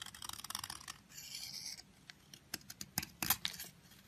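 A utility knife blade shaves curls off the surface of a long, thin, solid yellow soap bar held in the fingers. Quiet, bright, crisp crackling ticks open the clip, then give way to a smoother, continuous shaving scrape. Sharper, isolated cutting clicks follow near the end.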